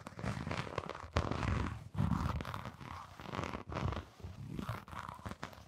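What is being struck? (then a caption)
Canvas sneaker with rubber sole. Long nails scratch the textured brown rubber sole of a hollow, empty blue fabric canvas sneaker. The result is dense, crackly scratching with a heavy low rumble and a faint brighter rasp, coming in uneven bursts separated by brief pauses.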